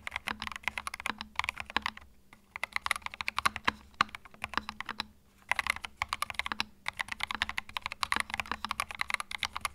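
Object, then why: Mechanical keyboard with plastic keycaps. Fingertips type continuously on a compact white mechanical keyboard with cream plastic keycaps resting on a felt mat. Rapid, bright plastic clacks stop short with almost no ring, and brief pauses come around the 2- and 5-second marks before the typing picks up again over a faint low hum.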